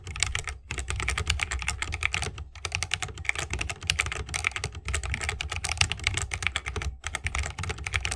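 A 60% mechanical keyboard with a bamboo wood case, plastic keycaps and tactile Holy Panda switches is typed on rapidly with the fingertips of both hands. The result is a dense, steady stream of crisp, bright clicks over a low, thocky thud, broken by a few brief pauses.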